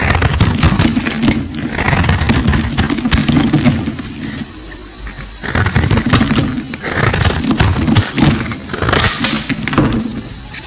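A solid green bar of soap held in the hand is cut and scraped with a metal blade, sending chunks and flakes breaking off. Dense, crackly scraping and crunching run throughout, with a low, thick body and bright snapping crackles on top. A brief quieter lull comes near the middle before the scraping picks up again.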